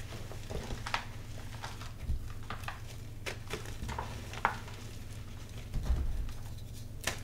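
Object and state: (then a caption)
Gym chalk being crushed by hand. Dyed purple gym chalk, a heap of loose magnesium carbonate powder with soft crumbly chunks in a white plastic bin, is squeezed, crushed and crumbled by bare chalk-coated fingertips, then pressed and rubbed. Quiet, dry soft crunches and brief crackly snaps stand out over a steady low hum and powdery rubbing.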